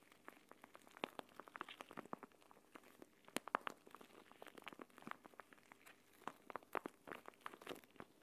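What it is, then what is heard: Plastic gel bead eye mask. A clear plastic gel bead eye mask, a pouch filled with green gel beads, is held in both hands above a mat and squeezed and kneaded so the beads shift inside while nails press into the plastic. It makes a quiet, steady patter of short, dry crackles and clicks, like light rain, sitting in the mids with almost no low end. Each tick dies away instantly.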